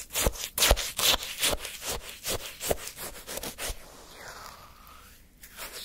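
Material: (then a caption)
Ice. A wooden stick scrapes and stabs into the icy granules of a partly eaten frozen orange sherbet in a paper cup. The result is a quick run of crisp, bright, gritty crunches and scrapes. The sound then fades to quiet faint rustling near the end.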